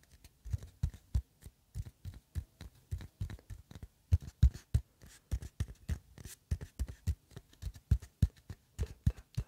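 An empty, hollow cardboard tube, a paper towel roll core about 25 cm long, is held in the hands in front of the microphone and tapped with the fingertips. About fifty short, dull, hollow thuds with a low pitch near 66 Hz come in a quick, uneven rhythm, each dying away almost at once.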